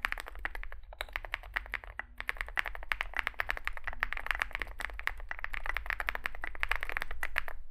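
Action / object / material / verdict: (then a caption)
tap / mechanical keyboard with aluminium case and plastic keycaps / aluminium, plastic / none. Both hands type continuously with their fingertips on a compact 65% Zoom65 mechanical keyboard with an aluminium metal case, foam filling, lubed switches and SA plastic keycaps, resting on a desk mat. A rapid, steady stream of short, crisp clacks centred around 1.7 kHz decays almost instantly, over a faint constant low hum.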